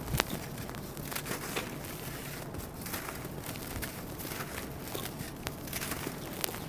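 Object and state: Dry sand-cement chunk crumbling.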